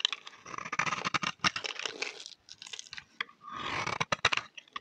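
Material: Soap.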